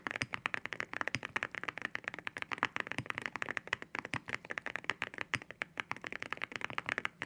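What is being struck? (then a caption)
Mechanical keyboard with ceramic keycaps. Fingertips type steadily on a white mechanical keyboard fitted with ceramic keycaps, with spare keycaps resting on the desk beside it. Dozens of quick, crisp clacks follow one another with almost no ring, each carrying a bright, glassy tone centered near 1.9 kHz over very little low end.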